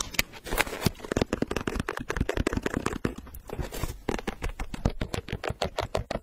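A hollow, empty pink leather low-top sneaker with a gum rubber sole is held close to the mic while long nails scratch and tap its upper and the edge of the sole. The result is a rapid, uneven patter of dry taps mixed with rough scratching, each hit short with a dull low body and no ring.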